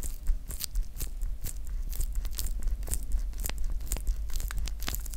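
Close-up crinkling of the clear plastic shrink wrap still on a small roll of blue PVC electrical tape, as fingertips squeeze, crinkle and pick at the film. Quick, irregular, bright crackles and snaps come over a steady low hum.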